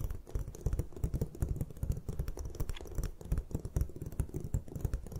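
A palm-sized, solid white magnesium carbonate gym chalk block resting on a table is tapped and scratched with long acrylic nails. The result is a quick, uneven run of dull, muffled taps and short clicks, heavy in the low end, that stop almost instantly with no ring, under a soft, steady scratching texture.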